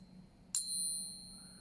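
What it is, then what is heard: Genuine silver coin. A real silver coin is tapped once, giving a single bright, high ring that sustains for over a second as it slowly fades, the ring typical of genuine silver.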